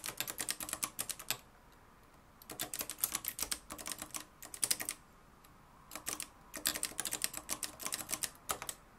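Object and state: Manual typewriter being typed on.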